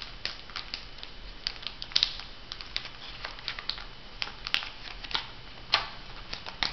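A filled, flat printed foil sheet-mask packet is crinkled and scratched by fingers and nails. The result is a steady run of bright, dry crackles and sharp scratchy ticks over a soft hiss, with a few louder snaps standing out.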